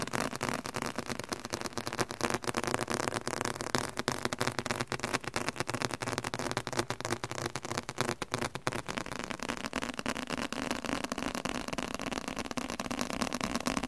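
A leather-covered book is tapped aggressively with rapid, irregular, continuous taps. Each tap is short and dry, with a broad mid-range tone and little low end.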